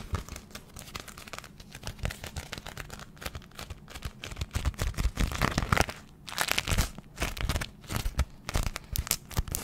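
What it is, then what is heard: Beeswax-coated fabric food wrap. A small, thin, flexible sheet of hexagon-print cotton fabric coated in beeswax, a food wrap, is held in both hands close to the microphone and crinkled and scrunched with fingers and long nails. It gives a dense, continuous stream of stiff crinkling and crackling with a soft low rumble underneath, building into louder, brighter crunchy bursts in the second half.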